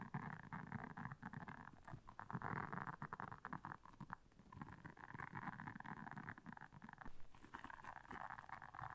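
Long almond-shaped nails scratch and press the soft bristles of a flat, solid, round blue silicone dish scrubber lying on black faux fur. The result is a quiet, continuous scratchy rustling with a low, rumbling body, rising and falling in dense waves of rapid tiny taps.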